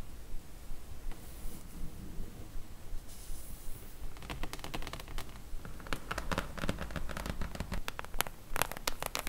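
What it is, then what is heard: Cardboard book slipcase tapped and scratched with nails. Long nails scratch and tap on the glossy printed side of a cardboard slipcase full of Harry Potter books. It opens with a soft, low, rustling scratch for about four seconds, then shifts to a quick series of dry, bright taps with no ring, mixed with light scratching.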